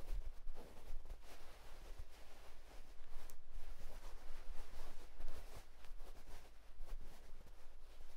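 Fingertips of both hands scratch a white cotton terry towel, making a quiet, steady run of soft, rustling scratches. The fabric gives a dry, brushy hiss that rises and falls in waves over a faint low rumble.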